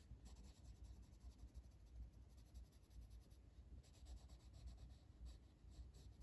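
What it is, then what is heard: Colored pencil shading on paper. The lead of a blue wooden colored pencil, held in the fingertips, is rubbed back and forth over an open paper coloring book page lying flat as a solid sheet while shading. Quiet, steady scratchy strokes repeat in a loose rhythm, with bright papery hiss riding over a soft low rumble.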